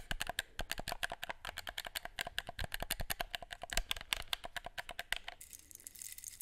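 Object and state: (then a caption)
Plastic game controller. A black hollow plastic gamepad is held in both hands while fingertips click its buttons and tap its shell. About forty sharp, dry plastic clicks come in a quick, uneven run, each dying out almost at once. Near the end the clicks stop, leaving a faint high hiss.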